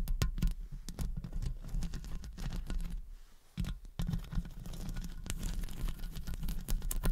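Long fake acrylic nails tap and scratch the hollow metal wire-mesh head of a silver studio condenser microphone, using both fingertips and nail tips. The result is a dense run of quick, dull thumps and brushing scratches, heavy in low rumble with short bright clicks, easing to a brief quieter stretch near the middle before picking back up.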